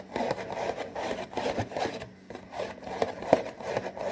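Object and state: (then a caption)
Cardboard box, scratched. Fingertips scratch and tap rapidly on the front panel of a hollow, printed cardboard saltine cracker box. Dry, papery scratching comes in short bursts centered in the midrange around 640 Hz, with a brief lull near the middle. Quick, sharp taps punctuate the scratching, and each dies away almost instantly.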